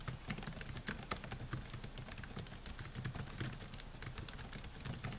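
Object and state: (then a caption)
Plastic laptop keyboard being typed on. Fingertips type continuously on the plastic keys of a silver Dell laptop with a metal and plastic body. They make a steady stream of quick, dry taps with bright clicks over a low thump. The taps run too close together to count.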